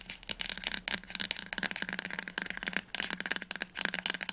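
A teal paperback book held upright has its spine tapped quickly with long nails and fingertips. The result is a fast, continuous stream of dry, bright clicks and taps with almost no ring, most of the sound sitting in the high range and little low end.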